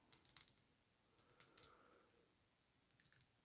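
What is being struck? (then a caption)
Glass perfume bottle tapped with fingernails. Long nails tap quickly and repeatedly on the front of a pink glass Amouage Guidance perfume bottle lying on fur. The taps come in three short bursts of light, bright clicks with almost no ring, separated by near-silent pauses.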